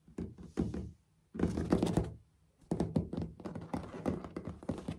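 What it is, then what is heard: Solid ceramic floor tiles. Fingertips and short nails tap and knock on solid, dark grey textured ceramic floor tiles with light grout lines. The result is a run of dull, low thunks and quick taps, clustered into bursts with short silent pauses between them. Each hit dies away quickly with little ring.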